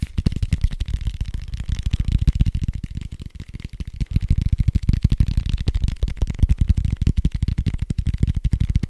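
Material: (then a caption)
Foam. A large red foam die with white circular dots, made of soft, hollow-looking foam, is held in one hand and rapidly tapped and scratched with fingertips and nails. The result is a fast, continuous run of dull, low, muffled thumps that stop dead with no ring, with faint scratchy texture between them.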